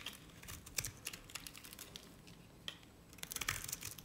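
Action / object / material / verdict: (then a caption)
scrape / bar of soap shaved with a knife blade / soap / none. A utility knife blade scrapes a dry, cream-colored solid bar of Nevskaya Cosmetics soap, shaving off curls. The result is quiet, dry, crisp crackling and scratching in quick, uneven bursts, bright and high with very little low end. Each scrape stops short with almost no ring, and a louder flurry comes near the end.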